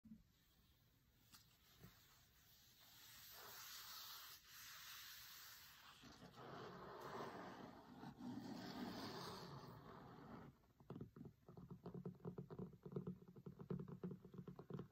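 Fingertips and short nails trace across the linen-like cloth cover of a large, closed hardcover cookbook with a printed food photo, lying on a marble table. Soft, breathy scratching and rubbing swells and fades for the first ten seconds. It then gives way to a quick, uneven run of dull, muted taps with a low thud and a little brightness.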